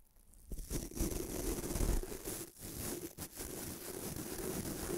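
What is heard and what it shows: A fingertip rubs and flicks the white nylon bristles of a small bamboo toothbrush held above a microphone. After a quiet start, a steady, bright scratchy rustle builds with a low rumble beneath it. It briefly dips near 2.5 and 3.2 seconds before continuing to the end.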